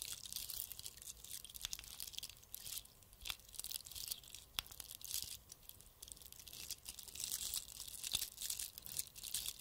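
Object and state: Bead-covered Christmas bauble being scratched.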